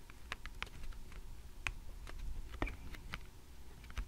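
Long red-painted nails on both hands tap and scratch across a small, solid stack of thick, glossy laminated cardboard picture flash cards, the top one showing the number 1, lying flat on a light wooden table. The result is a series of sharp, dry, bright clicks that stop instantly, separated by faint scratching over a low, steady rumble.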